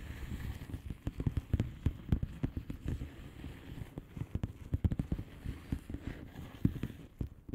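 Long painted nails on both hands tap across a flat blue plastic bubble wrap envelope with air-filled bubbles. The result is a steady run of quick, soft, dull taps with a low, muffled thud and no ring.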